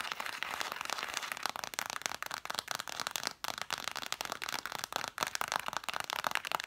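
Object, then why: Stack of cloth-bound hardcover books. Long dark nails rapidly tap and scratch the spines of a solid stack of red cloth-covered vintage hardcover books, set spines forward. The result is a dense stream of dry, crisp clicks and scratchy crackle centered in the mid range around 900 Hz with a bright edge and no low end. Each tap dies away almost instantly, with brief pauses near 3.4 and 5.2 seconds.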